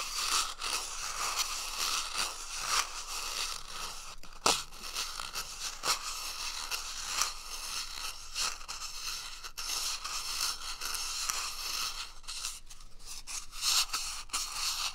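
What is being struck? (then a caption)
Cardboard toilet paper tube. Fingertips and a palm rub and scratch the surface of an empty, hollow brown cardboard toilet paper roll tube held close to the right side of the microphone. The result is a steady, bright, dry scratching and rustling texture with a focus around 1.3 kHz, broken by sharp, louder scrapes and crackles.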